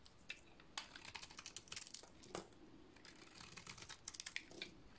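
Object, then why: Painted soap bar cut with a metal blade. A dry cream soap bar with a black painted coating is shaved with a metal blade, and the flakes fall away. Quiet, crisp scraping and crackling come in short, bright clicks, with a few sharper snaps standing out among them.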